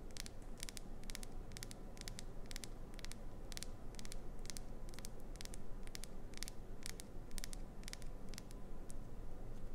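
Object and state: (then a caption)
Glycerin soap bar. Long acrylic nails tap and scratch the surface of an unwrapped, hand-sized, solid translucent green glycerin soap bar with an embedded clownfish design. Sharp, bright clicks repeat quickly over a steady, low, rumbling background at an even, quiet level.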